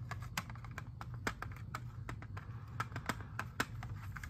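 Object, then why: Plastic CD jewel case. A hand-sized, hollow, clear hard plastic CD jewel case holding a disc is held in both hands, tapped and scratched with fingertips and nails, and flipped over partway through. The result is a rapid, irregular run of short, dry plastic clicks and taps with light scratching between them, each tap dying away almost at once over a steady low hum.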